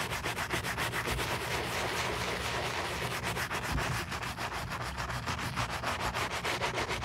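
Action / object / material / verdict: scrape / leather boot scrubbed with a bristle brush / leather / none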